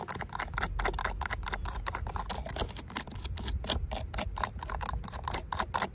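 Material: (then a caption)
Plastic. Long pink acrylic nails tap and scratch a yellow, ribbed, hollow plastic corrugated safety guard capping the top of a chain-link fence. Rapid, dense clicks and raspy scrapes run throughout, each hit bright and dry with almost no ring, centred around 1 kHz over a low rumble.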